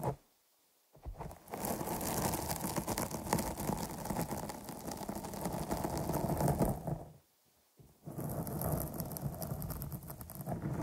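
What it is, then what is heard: Foam microphone windscreen. Long nails scratch and tap along the top and sides of a dark, soft, porous foam microphone cover, using both hands. The result is a dense, muffled, low rumbling scratch with quick soft taps and a thin bright hiss. It starts after a short silence, runs steadily, pauses briefly near the end, then resumes.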